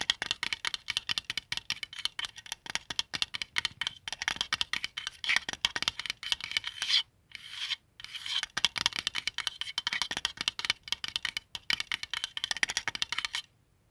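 Fingertips and nails rub and scratch across the dial of a palm-sized white plastic qibla compass disc resting on a blanket. The result is a dense, bright, rasping scratch made of rapid strokes, with two short pauses just after seven and eight seconds before the scratching fades out at the end.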